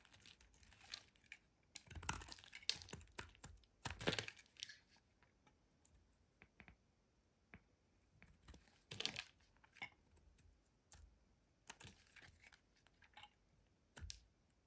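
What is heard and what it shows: A solid green bar soap, held in the hand, is carved and scraped along its edges with a metal utility blade, its shavings falling onto a pile. Quiet, crisp, bright scraping and crackling bursts come in irregular short strokes separated by near-silence, with a few louder, fuller cuts.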